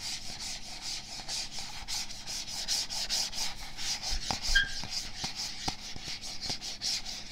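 Fingertips rub and scratch the label of a medium, hollow plastic supplement tub with a "Hydraulic" label and a black lid while it is turned in the hands close to a microphone. The result is a steady run of soft, bright scratching strokes, about two a second, with a few sharper clicks mixed in.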